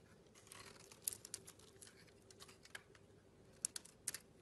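A hand-sized solid pink bar of soap with green remnants is scraped by a metal blade that shaves off curls. Soft, bright crinkly scraping is heard, broken by short, sharp high clicks and crackles as curls come away.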